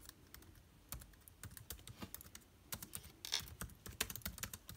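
Fingertips type on the plastic keycaps of an aluminium-bodied laptop keyboard, producing a quick, irregular run of about 24 soft, bright clicks. Each keystroke is short and dry with almost no ring, and carries a faint low thump beneath the crisp high click.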